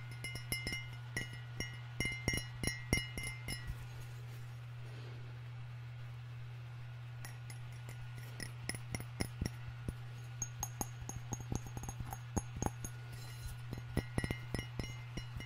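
Fingernails tap the outer wall of a hollow, apparently empty white ceramic coffee mug with a red floral print and red interior, held in one hand and partway through raised near a foam-covered microphone. Quick, bright clinks ring with a short pitched tone around 2 kHz over a steady low hum, with a quieter stretch in the middle before the tapping resumes.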